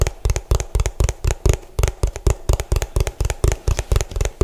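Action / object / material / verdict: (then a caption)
tap / hollow plastic food container / plastic / none. Fingertips and nails tap fast on the ridged base of an orange hollow plastic food container turned bottom-up. About 21 quick, dry knocks come in an uneven rhythm, each a short hollow thump with a deep low body and a faint bright click that stops at once.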